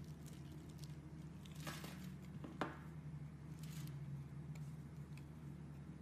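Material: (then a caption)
Soap. A box cutter blade scrapes and carves the surface of a solid rectangular bar of blue and white striped soap held in the hand, and soap shavings fall away. Soft, crisp scraping and crumbly shaving sounds come and go over a steady low hum, with one sharper snap partway through.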